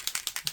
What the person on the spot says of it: you can hear it has like a little um B bearing in there